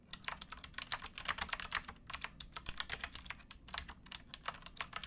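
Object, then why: Plastic mechanical keyboard. Fingertips with painted nails type on a pink backlit plastic mechanical keyboard with round keycaps and a hollow case, resting on a wooden box. About 34 quick, bright, clacky keystrokes sound over five seconds, each dying away almost instantly, with little low-end body.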